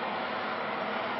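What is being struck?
Nothing is struck.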